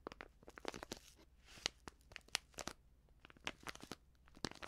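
A medium white Prix Garantie seasoning bag, filled and made of plastic, is crinkled by fingers that fold its top edge. Quiet, bright, crisp crackles come in a dense irregular stream with sharp snaps and no ring. The crinkling keeps on throughout.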